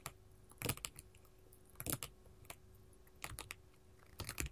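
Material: Glass.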